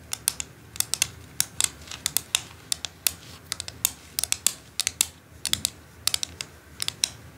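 Long acrylic nails tap and scratch across a flat white-and-orange plastic quilling board with a perforated dot grid and a slotted section, lying on dark fabric. A rapid, uneven series of sharp, bright clicks rises over a faint scratchy hiss, with almost no low end and each tick dying away instantly.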